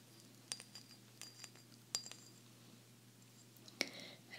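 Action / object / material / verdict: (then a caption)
tap / glazed ceramic salt shaker / ceramic / none. A small, hollow, green glazed ceramic salt shaker shaped like an alligator is held in both hands and tapped with long fingernails. About seven quick, bright clinks come at irregular intervals, with short high ringing over a faint low hum.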